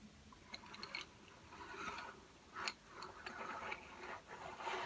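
Fingertips tap on a row of slim, solid, painted wooden coloured pencils lying flat on a white table. Light, dry clicks with a bright edge come at an uneven pace, separated by soft scratchy rustling. The overall level stays quiet, and each tap dies away almost instantly.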